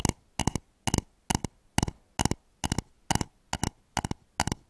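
Fingernails tap and scratch the outer wall of a hollow, polished wooden bowl turned upside down over microphones. Eleven quick clusters of two or three sharp, bright clicks come at a steady pace, each with a hollow low thump underneath. Every click stops at once, with no ring between the clusters.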